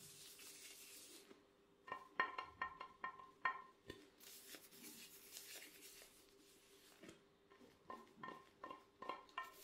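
An empty, glossy black ceramic plate is held at the edges and tapped with gloved fingertips, producing about 16 quick, light clicks with a faint ringing tone near 1.8 kHz. The taps come in an uneven rapid run early on and another cluster near the end. Between them are soft, bright rubbing hisses and a steady low hum.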